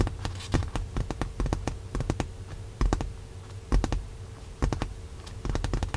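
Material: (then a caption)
Leather. Long nails tap rapidly across a padded white leather car seat cushion in a Tesla, making quick, dull, muted clicks in uneven bursts. The taps are short and thuddy, with little ring and a faint steady tone underneath.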